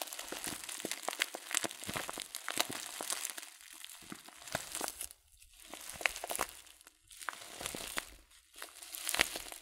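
Thumbs crinkle a filled, glossy coated-paper tea packet of loose-leaf tea, then tilt it. Dense, bright crackles and sharp snaps, with almost no low end, come in bursts broken by brief quiet pauses near the 5 and 7 second marks.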